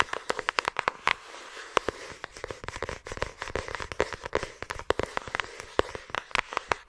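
Long acrylic nails tap and scratch a thin, flat yellow paper envelope or card held close to the microphone. A rapid, irregular stream of sharp, dry clicks rises over a soft papery scratching, each tap cutting off almost instantly with a bright crackle.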